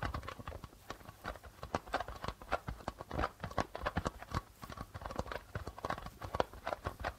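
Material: Plastic.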